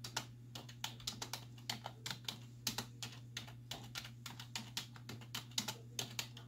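Both hands with long white nails type with fingertips and nail tips on a black plastic desktop keyboard with hollow keys. About thirty quick, bright, hollow clicks come in an uneven rhythm, each dying away almost instantly over a steady low hum.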